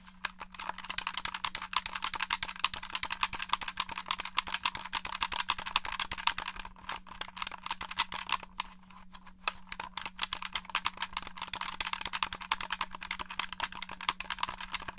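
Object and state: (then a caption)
Plastic game controller. Fingertips and nails tap and press the buttons and shell of a black, hollow plastic Xbox One controller held in both hands. A rapid, dense stream of short, bright plastic clicks and taps continues throughout, easing briefly near the middle before picking back up. A faint, steady low hum sits underneath.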